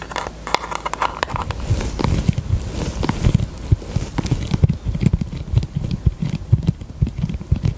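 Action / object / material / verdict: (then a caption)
tap / thin plastic eyelash tray tapped with fingernails / plastic / none. A small, thin pink plastic eyelash tray is held in both hands and tapped quickly with long acrylic nails. The result is a steady run of soft, dull, hollow clicks with a low, thumpy body and very little brightness, each tap dying away almost instantly.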